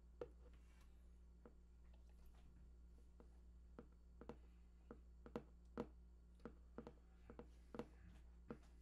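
Fingertips tap near the right edge of a large, hollow, printed cardboard PlayStation 4 box whose contents are unknown. The taps are soft, dull, and irregularly spaced, each dying away almost instantly, over a steady low hum.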